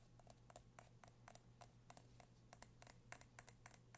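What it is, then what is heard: Candle jar with metal lid. Fingertips and nails tap the gold metal lid and the sides of a medium dark candle jar held in the hands. The result is a quiet, irregular series of short, crisp clicks with a faint ring around 700 Hz and a bright edge, each dying away almost at once over a steady low hum.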